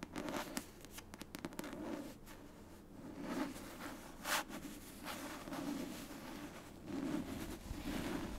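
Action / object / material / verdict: scrape / paperback book with cardstock cover / cardstock / none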